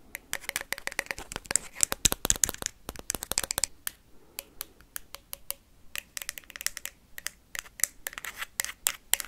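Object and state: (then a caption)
Ping pong ball tapped and scratched. A hollow plastic ping pong ball is tapped and scratched quickly with paperclips, producing dense bursts of sharp, bright clicks with a faint hollow ring beneath them. The clicks come in rapid clusters, briefly thin out around the middle, then pick up again.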